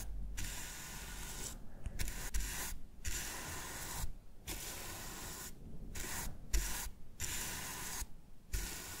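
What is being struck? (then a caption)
Plastic game controller. A shaving brush with a wooden handle and grey-white bristles is rubbed and brushed over the textured back of a black plastic PS5 DualSense controller, hand-sized and hollow, lying on a wooden desk. The strokes make soft, airy, hissy bristle sweeps over a low rumble, broken by brief quiet pauses between passes.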